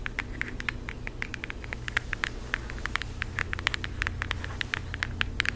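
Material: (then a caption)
Cardboard. Long acrylic nails tap rapidly on a flat floral cardboard eyeshadow palette held close to the mic. Dozens of short, dry, bright clicks centered near 2 kHz die away almost instantly over a steady low rumble.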